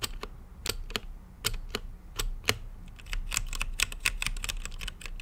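Fingertips type on a mechanical keyboard with plastic keycaps and a translucent lit case. Quick, irregular, sharp clacks ring out, each bright and very short, over a low, dull thump from the keys bottoming out.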